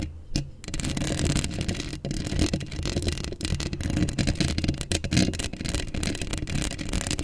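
Long acrylic nails scratch a hollow steel mesh microphone grille up close. The result is a continuous, dense rasping and scraping sound with a heavy, boomy low end and brief bright crackles. It runs steadily with no pauses.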